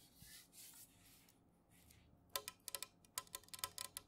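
A tall, unopened, full metal can of Jumex guava nectar is tapped with long fingernails, first standing upright and then laid on its side on a soft cloth and tapped again. Soft, breathy scraping opens the clip, then a quick, uneven run of sharp, bright clicks follows, each with a short metallic ring near 1 kHz that dies away almost at once.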